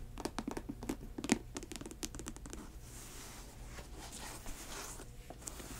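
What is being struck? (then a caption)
Patent leather high-top sneaker. Long nails tap and scratch a grey patent leather high-top sneaker, working over the glossy upper and the area near the laces. A quick run of sharp, clicky taps in the first half gives way to softer, bright scratching that fades to a low, steady level.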